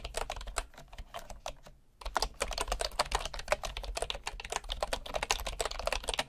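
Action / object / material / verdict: tap / bamboo wood keyboard keys / bamboo wood / none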